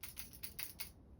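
A glide fishing lure with rattles is flicked, giving five bright, crisp rattling clicks in quick succession over a faint low rumble. The rattles sound good, as intended.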